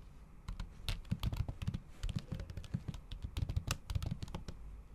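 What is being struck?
Laptop keyboard with plastic cover.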